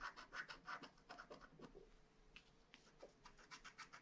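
A wooden stylus repeatedly scratches and rubs the black coating off the castle on a flat paper scratch-art card. The result is a quick run of dry, bright scraping strokes at a steady but uneven pace, some stronger and some fainter, with a faint hum beneath.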